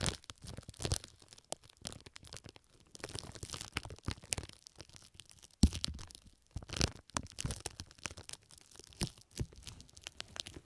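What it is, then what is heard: Plastic wrap crinkling. Pink plastic cling film stretched over the left ear of a microphone is squeezed, scratched and crinkled by fingertips with long nails. Dense crackling and crinkling bursts with short tearing-like scrapes fill the clip, with a few sharper pops standing out. The sound is close and dry, with both low thumps and bright crinkle.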